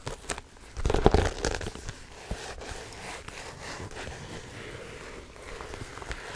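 A large iridescent silver holographic vinyl tote bag, hollow and soft, is crinkled and squeezed by hands and nails. A loud burst of crinkling near the one-second mark gives way to steady, softer rustling and crackling for the rest of the clip.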